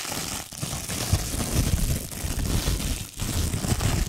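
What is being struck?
Thin plastic packaging film.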